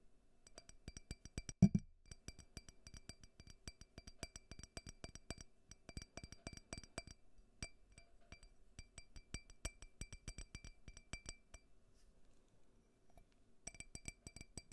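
Fingernails tap on a small, clear, faceted drinking glass, hollow and empty, held upside down above a microphone. The result is a steady stream of quick, light clicks with a faint, bright glassy ring that dies away almost at once. One louder knock comes early on, and there is a brief lull near the end before the tapping resumes.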